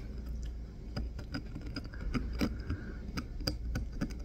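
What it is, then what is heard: Bar of soap being carved. A wooden-handled craft knife blade carves and scrapes into a solid green bar of soap held in the fingers. Short, crisp cutting and scraping clicks come in an irregular series over a steady low hum.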